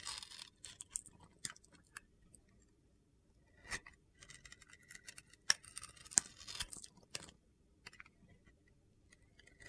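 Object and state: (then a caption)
Glitter-coated bar soap being shaved. A utility knife blade shaves slices off the edge of a small solid bar of soap with a red-pink glitter coating, held in the hand. About seven crisp, bright, crunchy scraping cuts sound over soft gritty rustling, each short and dry with no ring. The sound is quiet overall.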